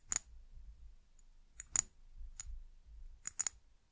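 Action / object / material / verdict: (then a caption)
tap / small glass bottle / glass / none. A small amber glass bottle with embossed glass and a white cap, held sideways, is tapped with long nails. The result is sharp, bright clicks with almost no ring, coming in small, irregular clusters over a quiet low background.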